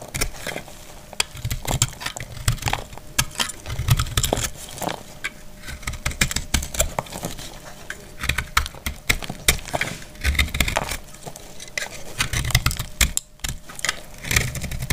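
A dry, solid, palm-sized green soap bar is sliced and scraped with a metal utility blade, sending brittle chips falling. It makes a dense run of crisp, scratchy cuts and sharp crackling clicks over soft low thumps, with brief pauses between bursts.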